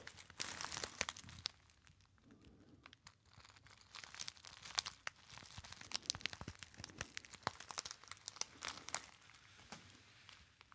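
A small, hollow, apparently empty gold metallized foil pouch is crumpled by fingertips close to the ear. Dense, bright, sharp crinkles and crackles come in irregular bursts, with quieter rustling between them and almost no low end.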